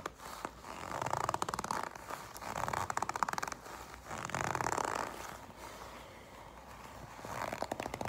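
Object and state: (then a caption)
Leather jacket. Black leather jacket fabric is bunched in the hands, then gripped and scratched with long pink nails. It makes soft, crinkly creaking and scratching bursts centered in the midrange. The sound rises and fades in several waves, with quieter rustling between them.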